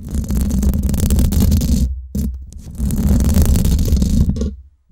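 Long acrylic nails scratch across the hollow, domed steel mesh head of a Blue Yeti microphone. The scratching comes through as dense, heavy low rumbling with a faint bright hiss. Two long bursts are separated by a brief near-silent pause around the two-second mark, and the clip trails off into quiet at the end.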